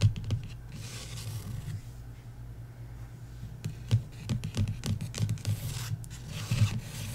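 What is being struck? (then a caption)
Paperback book with card cover. Long nails tap and scrape across the matte card cover of a paperback novel, *Love & Other Words*, lying flat. Soft, dull taps with a low thump are mixed with dry, scratchy strokes across the cover. Each sound dies away almost at once.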